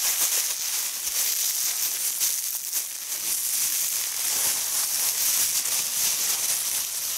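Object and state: Nothing is struck.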